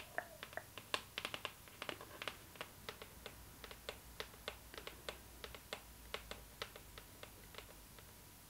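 Long nails tap the lid of a hollow, rectangular cardboard gift box with a glossy floral print, held in the hands. It makes a steady run of sharp, bright, clicky taps that die away almost instantly. The taps come in quick clusters at first, then settle into an even rhythm over a faint steady hiss.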